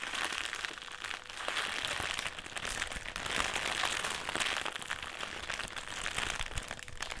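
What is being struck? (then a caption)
Metallised plastic crisp packet. A black foil-lined metallised plastic crisp packet is held in both hands and crumpled and twisted with the fingers. It makes a steady, bright crinkling full of dense crackles that swells and eases in waves for about seven seconds.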